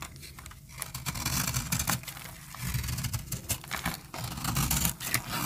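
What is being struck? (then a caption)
Soap bar cut with a metal blade. A metal blade cuts and scrapes crumbly layers off a solid, dry peach soap bar held in the hand. Dense, dry scratching and crackling sits over a low rumble, with sharp bright crunches flaring as flakes break away.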